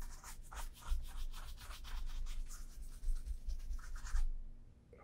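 A brown leather Vass Austerity brogue oxford shoe is held in hand and turned while a bristle shoe brush sweeps across its upper and welt. Quick, uneven brushing and rubbing strokes make bright, scratchy swishes over a low rumble, then stop, leaving near silence at the end.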